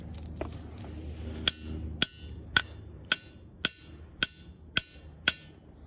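A steel claw hammer taps a large, solid, pinkish-grey diabase boulder with a mossy crack eight times at a steady pace. Each strike gives a sharp, bright, bell-like ring with clear tonal overtones around 1.5 kHz that fade quickly. A low rumble sits underneath at the start.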